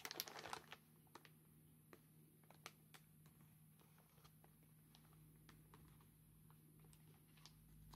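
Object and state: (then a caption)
Plastic mailer bag. Black claw tips tap and scratch the paper labels on a grey plastic mailer bag while gloved hands turn and crinkle it. About fifteen sharp, bright clicks and scrapes stand out over a soft crinkling rustle. A faint steady low hum runs underneath throughout.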